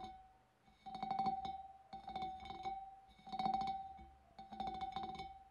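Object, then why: Glass fish bowl. Long dark nails tap and flick the wavy rim of a large, clear, empty glass fish bowl. Quick clusters of light clicks come in four bursts, with a steady glassy ring near 780 Hz sustaining under each burst and fading between them.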